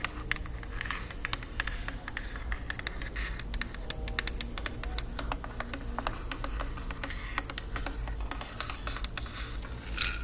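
Long nails tap and scratch the sides and top of a black plastic Bluetooth speaker. Quick, dry, bright clicks come in uneven bursts with soft scratchy rasps between them, all over a steady low hum. Each tap is sharp and dies out almost at once.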